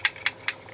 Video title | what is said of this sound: How airbag modules work-clear crash data-reset airbag modules-reuse airbag modules - SRS module | if you shake it, you can hear it move.